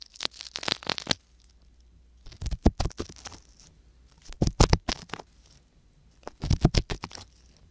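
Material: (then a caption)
Silicone. A wooden ear pick with a metal tip scrapes inside the ear canal of a soft silicone ear on a white box binaural microphone. The scraping comes in four short bursts of close, crackling, rustling scratches with a low thump beneath, separated by near-silent pauses.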